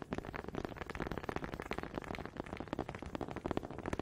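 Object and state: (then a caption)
Wooden honey dippers. Two small solid wooden honey dippers with grooved heads, held in both hands with long red nails, are knocked and rubbed together in front of a microphone. The result is a rapid, uneven stream of dry wooden clicks and knocks with a warm low-mid body, mixed with scraping rubs. Each tap dies instantly with no ring.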